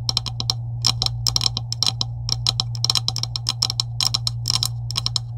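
Long pointed acrylic nails tap quickly on a green plastic pipe section, likely hollow, with wider coupling sleeves on both ends, lying on a white table. The result is a run of sharp, bright, clicky taps that stop dead, over a steady low hum.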